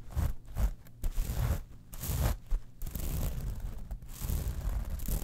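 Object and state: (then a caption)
Metal mesh clutch wallet. Long nails scratch and tap across the textured surface of a small metal mesh rhinestone clutch wallet. The result is a run of dry, rasping scrapes and soft ticks in uneven bursts, with a low rumble underneath and brighter hiss on the stronger strokes.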